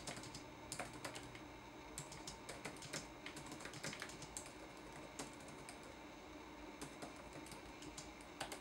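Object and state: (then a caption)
Plastic laptop keyboard. Fingertips type on a red-backlit laptop keyboard with plastic keys. The result is a steady, quiet stream of light, bright clicks and clacks with short decay, some taps louder than others, over a faint low hum in the first two seconds.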